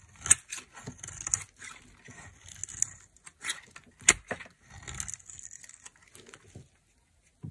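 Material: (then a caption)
Soap. A knife carves a solid white oval bar of dry soap held in the hand, chipping off chunks. Crisp, bright scraping and cracking bursts come in short irregular strokes, with sharper snaps as pieces break away. Brief quiet gaps fall between them.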